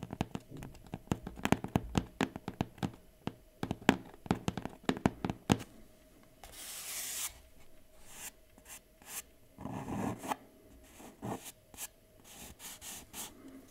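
Fingertips and long painted nails tap quickly across the closed lid of a large, flat, hollow kraft cardboard laptop box for a Huawei MateBook X Pro, which lies on fabric. The taps give a run of sharp, dry clicks over a faint hollow thump. The tapping then gives way to brushing, scratchy rubs across the lid, with a few scattered taps.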